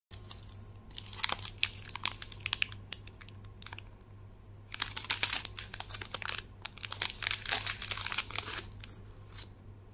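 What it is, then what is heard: Plastic foil wrapper crinkling. A small, flat Alokozay Wafer Bites packet in a blue plastic foil wrapper, filled with a wafer bar, is held in both hands and crinkled and squeezed with the fingertips. Bright, sharp crackles come in two busy spells, the second longer and denser, with quieter gaps between. A steady low hum runs underneath throughout.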